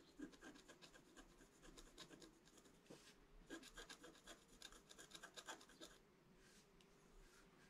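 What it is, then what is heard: Scratch-art paper being scratched. A pointed wooden stick scratches across a flat scratch-art page, a black coating over colored paper. A quick, uneven series of short, dry, bright scraping strokes comes at about four per second, with a steady low hiss underneath. The strokes fade to a softer rub after about six seconds.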